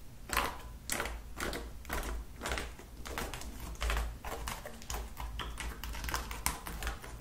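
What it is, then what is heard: Slime tapped with nails. Long acrylic nails tap rapidly on a flat lilac slime dotted with beads, resting on a table, in a quick typing-like rhythm. Each tap gives a short, crisp, sticky click with a bright edge, over a steady low hum underneath.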